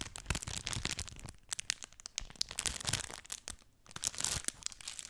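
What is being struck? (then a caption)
Plastic bag with soft filling. A clear plastic bag filled with soft, light orange feathers is held in one hand close to the mic and crinkled and scratched with long nails. Dense, bright crinkling and crackling come in quick bursts that ease off briefly before building again.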